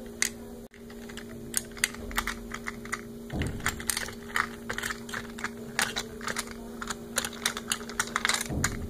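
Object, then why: Plastic toy fishing game with small plastic fish pieces. Fingertips and nails tap and rub across the small plastic fish pieces held in a small, hollow blue plastic toy fishing-game base. Quick, bright clicks and light scratchy rubs scatter over a steady low hum, with a couple of duller knocks and a brief dropout near the start.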